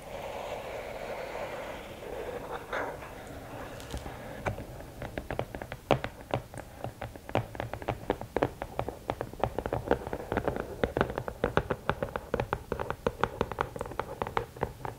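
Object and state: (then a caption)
Rigid cardboard gift box. Long green-painted nails scratch and tap a closed, hollow, medium-sized rectangular gift box of rigid cardboard, with a red lid over a black base bearing a gold emblem, working over the lid top and sides. It opens with a soft, rasping scratch for about four seconds. Then comes a rapid run of crisp, dry taps that die away almost instantly and keep going in uneven bursts until the end.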